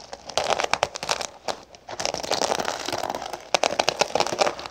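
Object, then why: Fabric pouch covered in small plastic sequins. Long pink fingernails tap and rub across a flat cosmetic pouch covered in small gold sequins with a black sequin logo patch, lying on a wooden table. Dense, crinkly, crackling clicks come in bursts with short pauses, bright and thin with almost no low end.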